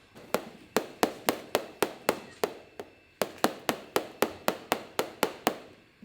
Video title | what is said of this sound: Parmigiano Reggiano Cheese and Parma Ham Factory Tours | The sound is even, there's no empty space, so this wheel is fine.